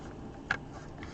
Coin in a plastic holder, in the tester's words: these holders are kind of like rattlers they're not fit tight you shake it you'll hear rattling